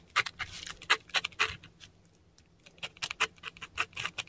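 A metal dip pen nib scratches kana strokes and dots in ink across a flat, textured Korean paper sheet. The result is a quick, uneven series of short, dry, bright scratches and ticks, with a quiet pause near the middle before the strokes resume.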